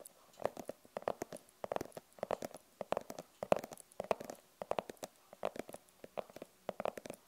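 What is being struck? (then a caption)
Fabric-covered hard glasses case. Long purple nails tap quickly and scratch across the front of a closed, hollow, rigid glasses case with a printed fabric cover. Quiet, dry clicks come in uneven bursts with a hollow midrange tone, mixed with soft brushing scratches between them.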